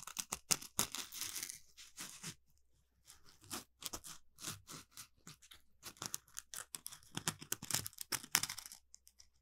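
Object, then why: Polymer foam scrubbing sponge. An orange smiley-face Scrub Daddy sponge, a palm-sized, solid piece of textured polymer foam with two eye holes and a mouth cutout, is held up in both hands and scratched with the fingernails across its rough surface. The result is quiet, dry, bright scratching and crackling in quick, uneven bursts, mostly high-pitched with almost no low end, with a brief pause near the start before the scratching resumes.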